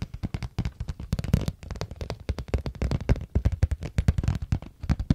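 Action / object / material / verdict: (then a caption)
tap / small plastic case / plastic / none. Fingertips and nails tap rapidly on a small, hollow, glossy pink plastic or vinyl case with a flower print, held in one hand. The dense run of short, dull clicks and knocks is mostly low in tone and dies away at once, with no ring.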